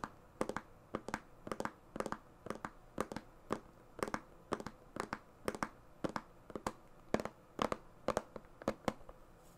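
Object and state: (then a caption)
Clear plastic organizer box tapped with fingernails. Long painted fingernails tap and scratch across the lid of a large, transparent plastic compartment organizer box that lies flat, hollow and mostly empty. A steady run of sharp, dry clicks with a hollow, low-mid body and almost no ring is heard, broken by brief scratchy strokes. The sound stays quiet and close throughout.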